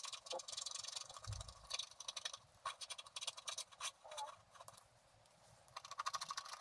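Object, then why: Wax-coated scratch art paper scratched with a wooden stylus. A wooden stylus scratches dense strokes into the black coating of a flat scratch-art card of black wax-coated paper, held by one hand. It makes quiet, bright, dry scraping with rapid rasping bursts and almost no low end, easing into a softer stretch near the end before the busy scratching picks up again.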